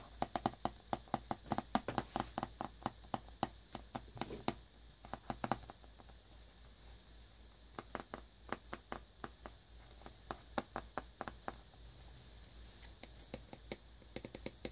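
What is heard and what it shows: Fingertips and nails tap and scratch the glossy cellophane wrap on a small cardboard earbuds box held in the hands. Dozens of short, crisp taps with a dull body and bright clicky edge come in quick runs, each dying away almost instantly. The runs are separated by quieter stretches of soft crinkly scratching.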